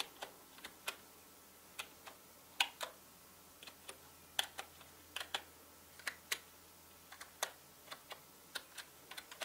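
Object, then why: Plastic mechanical keyboard. Slow typing with the fingertips of both hands on a full-size black plastic mechanical gaming keyboard with plastic keycaps. Around 23 separate, short, bright clicky keystrokes land at an uneven pace over a quiet background, each dying away almost instantly.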